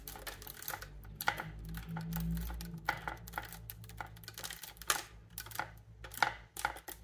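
Long painted nails rapidly tap and click the dense silver key mechanism on the wooden body of a bassoon, a large hollow instrument. The result is quick, sharp, dry clicks over a steady low hum.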